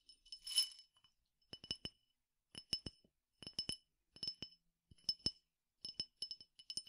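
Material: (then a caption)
Glass. A clear glass tumbler partly filled with peppercorns is handled, tilted and tapped with fingernails. A brief rattling swish of the peppercorns opens the clip, followed by quick clusters of bright, high glassy clinks with very short ring and quiet gaps between groups.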